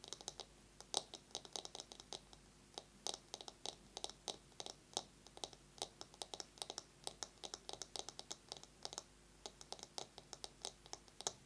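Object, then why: Bamboo massage brush. A bamboo massage brush is tapped rapidly with long nails and scratched, producing a steady stream of sharp, dry, high-pitched clicks in quick uneven bursts. Each tap is bright and dies away almost instantly, with light scratching between the taps and almost no low end.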